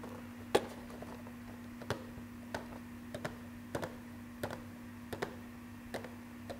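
A small hollow cardboard Marvel Funko Pop #213 box with a clear plastic front window and a vinyl figure inside is held in both hands and tapped and clicked with fingertips and nails. Thirteen short, dry clicks come at an uneven pace, some in quick pairs, over a quiet steady low hum.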